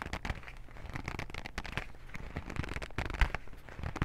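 A small white printed cardboard box of cotton swabs, hollow with its contents inside, is gripped with both hands and scratched with fingernails. The scratching makes a dense, crackly stream of quick, dry scrapes and clicks, with a low, hollow body under brighter rasping, and a sharper tap near the end.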